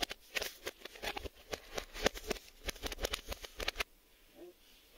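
Several fingertips with short nails tap and scratch quickly on the front of a cardboard Maxell VHS tape box, giving about twenty sharp, dry, bright clicks mixed with rough scratching. The tapping stops just before the four-second mark, leaving a faint, quiet tail.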